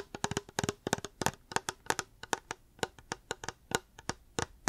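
A reusable hard plastic water bottle is tapped with the fingers in a quick, uneven rhythm, giving about 22 short, crisp taps with a bright click on top. Each tap carries a faint hollow tone near 410 Hz that dies away almost at once.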